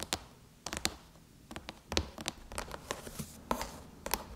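Long chrome-painted nails tap and scratch the silver aluminum lid of a MacBook near the logo. About fourteen short, sharp, bright clicks ring out, each dying away almost at once, with soft scratchy rustling between them and a faint low thud underneath.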